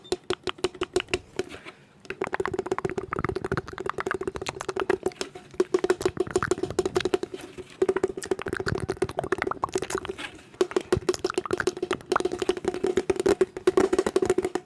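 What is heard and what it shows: A hollow round wall clock, about 25 cm across, with a silver metal-look rim and a clear plastic face cover, is held up close and tapped quickly with fingertips and nails on its face and rim. Rapid, dense clicking taps carry a steady hollow ring around 380 Hz. The taps come in bursts with brief pauses near 2, 8 and 10.5 seconds.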